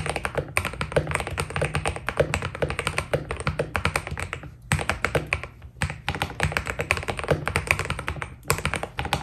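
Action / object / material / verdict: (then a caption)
tap / mechanical keyboard with plastic PBT keycaps / PBT plastic / none. Two hands type with the fingertips on a white Keydous NJ80 mechanical keyboard with PBT keycaps, producing a fast, steady stream of short, clacky keystrokes. Each keystroke has a deep, low thock with bright ticks on top and dies away almost at once. The typing pauses briefly twice before picking back up.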